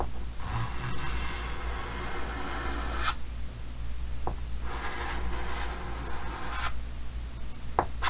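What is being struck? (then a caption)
Chalk on a painted wooden-framed chalkboard. Fingers draw small details in white chalk on a large, solid painted chalkboard set in a green wooden frame. The chalk makes two long, bright scraping strokes, and a few short, sharp taps sound against the board. A steady low hum runs underneath.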